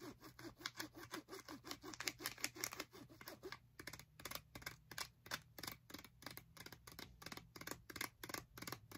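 Long nails tap and scratch a small, flat plastic and paper blister pack of metal bobby pins, making a quiet, rapid run of crisp, bright clicks with dry scratchy texture and no ringing. The irregular tapping turns sharper and more separated partway through.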